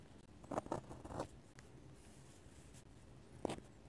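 A metal-nib dip pen scratches quick hatching lines on the white paper page of an open sketchbook. Short, dry scratching bursts cluster in the first second and a half, then a quiet stretch of faint hiss, then one more scratch near the end.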